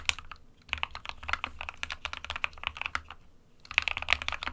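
Fingertips of both hands type on an SK61 compact 60% plastic mechanical keyboard with white and grey keycaps. Bright, clacky keystrokes come in quick, irregular runs, with short lulls near the start and just past three seconds. Each click dies away almost instantly over a faint low hum.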